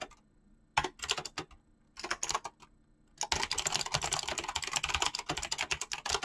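Fingertips with short painted nails type fast on a full-size mechanical keyboard with clicky green switches and pink-blue PBT plastic keycaps. Two short bursts of sharp, bright clicks are followed by a steady run of rapid typing to the end. The clicks are crisp, with little low end and almost no ring.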